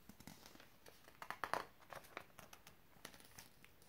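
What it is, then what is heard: Glossy magazine page being turned. Fingertips grab and flip a thin glossy page of an open glossy paper magazine, and the paper bends and crinkles as it turns. Quiet, dry crinkling and soft ticks run throughout, rising to a short burst of sharper, brighter crackles midway before settling back to faint rustles.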